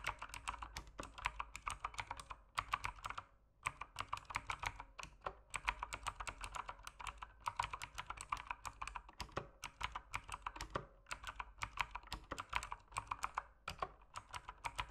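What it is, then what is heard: Plastic mechanical keyboard. Fingertips type steadily on an RGB-lit mechanical keyboard with plastic keycaps. It makes a dense run of quick, dry clicking taps with very short decay, each centered around 1 kHz with bright highs. There are brief pauses between bursts of keystrokes.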